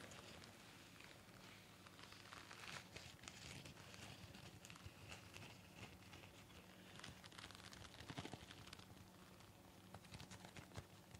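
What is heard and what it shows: A pleated disposable surgical mask of thin nonwoven fabric, worn on the face, is tapped and rubbed on both sides with fingertips and nails. It gives a quiet, steady stream of soft crinkling and scratchy tapping with bright, papery texture over a low hum throughout.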